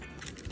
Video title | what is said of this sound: Tastiest Crispy Skin Pork Belly In air Fryer | you can hear it's crispy